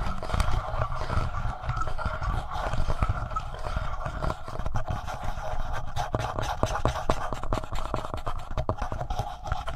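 Fingertips scratch and tap the plastic front body, just below the capsules, of a black, palm-sized, hollow plastic Tascam portable recorder. The result is a continuous, close, low-heavy scraping rumble dotted with quick, dry taps, under a steady hum-like tone near 600 Hz.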